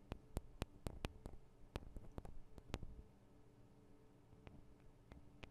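Long acrylic nails from both hands tap the small hollow metal and plastic microphone capsules of a Tascam DR-40 recorder, making about fourteen quiet, sharp ticks. The taps come quickly over the first three seconds, then thin out to a few scattered ones. A steady low hum sits underneath.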